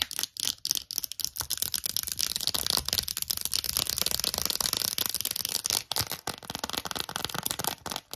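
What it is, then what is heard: Plastic phone case tapped and scratched with nails. An empty, small, hollow lilac glossy plastic phone case with gold trim is tapped and scratched with long acrylic nails. The result is a fast, dense run of bright, dry clicks and scratchy rasps, almost all high-pitched with very little low end. The brief gaps near the sixth and eighth seconds are the only pauses.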